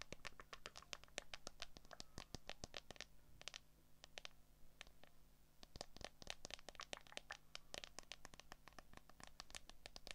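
Long acrylic nails tap and scratch the back of a handheld smartphone in a transparent hard plastic case, working around the camera lenses. Rapid, crisp clicky taps with bright, instantly decaying transients mix with brief scratchy strokes over a faint low hum. The taps thin out briefly midway before picking back up.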